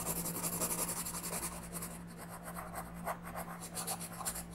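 A wooden orange colored pencil makes small, scratchy coloring strokes on a thin paper page of a coloring book lying flat on a table. The strokes come as a quick, uneven run of bright, dry rasps, with a steady low hum underneath.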